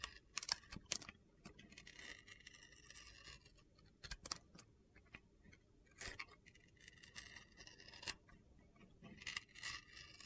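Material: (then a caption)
Soap. A utility knife blade carves and shaves slices from the same blue glitter-coated bar of soap until most of its white interior shows. Crisp, bright scraping and gritty crunches come in quick bursts, punctuated by short, sharp clicks as each slice comes away.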